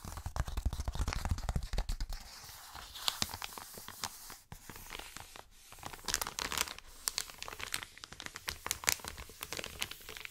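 An empty, flat Amazon kraft-paper padded mailer is crinkled, then rubbed and scratched with fingertips and short nails. Dense, bright crackles and sharp papery snaps ride over a low rumbling handling noise that is strongest in the first two seconds. Quieter stretches of soft scratching follow, broken by bursts of crisp crinkling.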